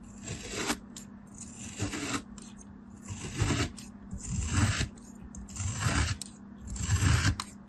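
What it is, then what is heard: Kinetic sand block being cut. A thin black blade, held by an orange-nailed hand, scrapes and cuts through a palm-sized block of solid, packed beige kinetic sand already sliced into ridged layers. Six gritty, crunchy scraping strokes rise and fall, each with a bright granular hiss over soft low thuds, separated by short quiet pauses against a faint steady hum.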